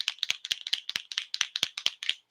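A medium-tip PCA paint marker pen is shaken to mix the paint inside before use, giving a rapid, bright clicking rattle of about 12 short, sharp hits over a little over two seconds. The rattle is high-pitched with no low end, and it shows there is paint inside the pen.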